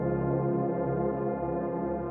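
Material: Nothing is struck.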